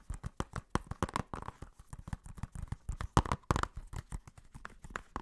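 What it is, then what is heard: Plastic Blu-ray case. Fingernails tap and scratch the cover and spine of a blue plastic Blu-ray case. About twenty quick, dry clicks follow one another at an uneven pace, mixed with brief scratchy rubs. Each hit has a soft low thump and dies away almost at once.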